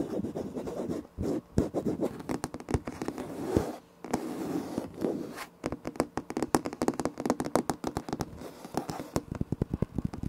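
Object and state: Laminate floor.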